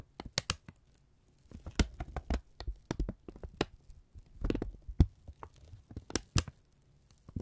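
A thin brown kraft paper strip is held in both hands, folded over and crinkled with the fingertips close to the microphones. The result is a run of sharp, dry crackles and soft crumpling rustles with a low, muffled thump underneath, each burst dying away almost at once.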